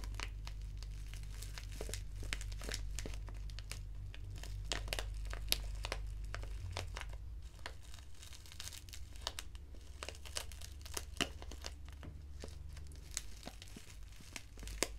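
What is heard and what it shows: A small, flat black foil-lined paper tea sachet of Assam Breakfast tea, with a tea bag inside, is held in the fingers and crinkled with long nails. It makes dense, irregular crackling and crinkling with sharp, bright snaps, over a steady low hum that weakens after about seven seconds.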